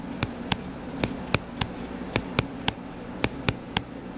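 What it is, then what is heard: Hardcover paper book. Fingertips tap quickly on the cover of a closed hardcover paper book lying flat and solid. Eleven short, dry taps come at uneven intervals, each with a bright click that dies away almost instantly, over a steady low hum.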